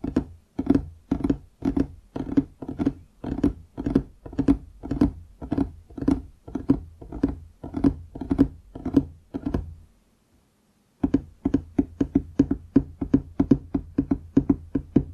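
Fingertips tap the wood near the front edge of a large solid wooden desk top in a steady, rapid run of short, dull knocks. Each tap has a low woody body around 270 Hz and dies away almost instantly. The tapping stops for about a second near the ten-second mark, then resumes at a slightly quicker pace.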